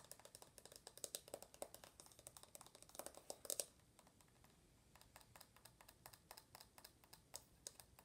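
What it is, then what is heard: Smartphone tapped on glass screen and metal edge. Long nails tap fast on an uncased iPhone with the lock screen on, first on its glass screen, then on its aluminum edge and back. Dozens of short, dry, bright clicks with a tone around 566 Hz and almost no ring come in a quick, uneven stream, peaking near 3.5 seconds. After a brief quieter stretch around 4 seconds, the tapping resumes.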